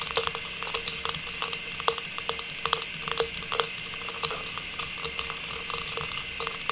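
A small, hollow, faceted silver metallized plastic star tree topper, held in both hands, is tapped and scratched with long pink nails. Quick, dry, bright clicks and ticks land in an irregular stream over a steady hiss, each dying away almost at once with no ring.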